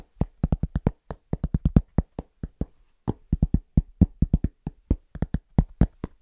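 Fingertips of both hands tap quickly on a large, round, flat, solid cork trivet held upright. About 34 short, dull, low thuds come in fast, uneven bursts with brief pauses between them. Each tap dies away at once with no ring.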